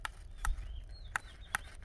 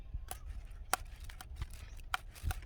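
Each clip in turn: First: unripe durian. Second: nearly ripe durian.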